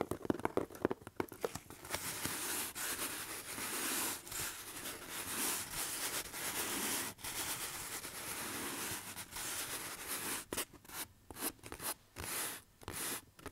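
Fingertips slowly rub and scratch the side of a hollow corrugated cardboard box held up in the air, making a dry, papery, bright rasp. Quick crinkly scratches at the start give way to long, steady rubbing strokes, then short, choppy strokes with brief silences between them near the end.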